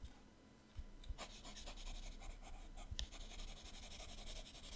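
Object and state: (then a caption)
Pencil shading on a paper sketchbook page. A teal colored pencil shades the right page of an open paper sketchbook with fast back-and-forth strokes. After a quiet start, soft scratchy rubbing builds into a steady, bright papery hiss with a few sharper strokes and low thumps, continuing to the end.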